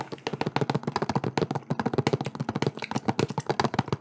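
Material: Plastic.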